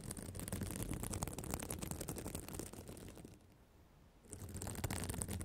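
Long black acrylic nails scratch and flip the small plastic reversible sequins on the flat fabric cover of a spiral notebook, decorated in an emoji pattern, around a microphone resting on the cover. The result is a dense, rapid crackling rustle with deep low-end rumble from the mic contact and a thin, bright sparkle of clicking sequins. The scratching briefly goes quiet for under a second near the end, then resumes just as busily.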